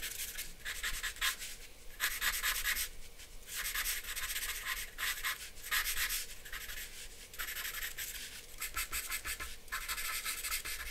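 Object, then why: Charcoal stick on drawing paper laid on a board. A hand scratches and rubs a black charcoal stick across a sheet of white drawing paper bearing a charcoal portrait, laid flat on a dark backing board on a wooden table. Repeated bursts of bright, dry, scratchy strokes come and go with short quieter pauses between them, over a faint steady low rumble.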